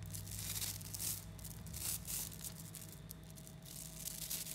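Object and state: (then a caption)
Mass of small neodymium magnetic balls. A large clump of 3mm neodymium magnetic balls (about 11,000 small solid metal spheres) is squeezed and folded with the fingertips of both hands. The balls click and crackle against each other in dense, bright bursts over a steady low hum.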